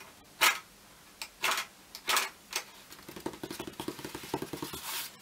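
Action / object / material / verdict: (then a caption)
scrape / fibreboard picture frame backing panel / fibreboard / none. Fingertips and nails work across a large flat brown fibreboard or cork-like backing panel set in a light blue frame, held upright against the body. Several bright, hissy scratching strokes sweep across the surface, then give way to a quick, uneven run of light, dry taps with almost no ring.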